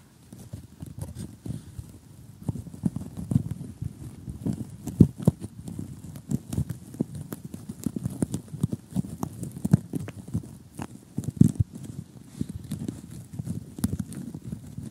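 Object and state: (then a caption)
Cardboard jigsaw puzzle. Short glittery nails tap rapidly on an assembled cardboard jigsaw puzzle lying flat. The result is a steady, uneven patter of quick, dull, low taps that die away instantly, with a few sharper, louder taps standing out.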